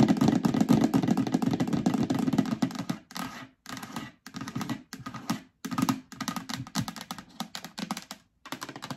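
Long nails tap and rub on the sides and base of a hollow, empty yellow plastic storage bin. A dense flurry of rapid, clicky taps with a hollow low body fills the first three seconds, then breaks into shorter bursts of tapping separated by brief silences.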